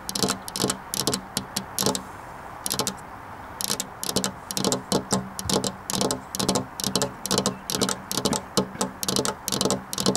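Long black nails tap a flat glass window pane with the fingers spread, producing quick bursts of bright, clicky ticks with a short ring. The bursts come in an uneven rhythm, with a brief lull around the two-to-four-second mark before the tapping picks up again and continues steadily.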